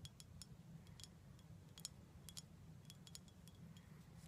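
A small glass bottle full of dark syrup, with a label and a gold foil top, is held in the hands and tapped on its side with long black nails. The taps are quick, bright, high clicks that die away almost instantly, repeating unevenly over a steady low hum. The whole clip is quiet.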